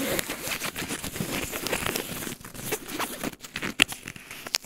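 Fingertips and nails scratch and rub the surface of a blue paw-print padded polyester laptop sleeve with black nylon handles, lying flat on a tile floor with a laptop inside. A steady, bright, crinkly scratching hiss fills the first half, then breaks into quieter, choppier rubs with a few sharper scrapes toward the end.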